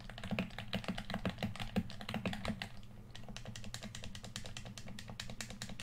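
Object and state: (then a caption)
Plastic game controller. A red, hand-sized, hollow plastic PS4 controller is held in both hands while fingertips and thumbs tap and click on it. Quick, irregular plastic clicks and taps come in a steady stream over a low, constant hum, softening briefly around the middle before picking back up.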